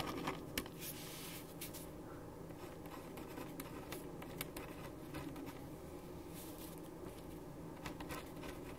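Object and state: Paper written on with a ballpoint pen.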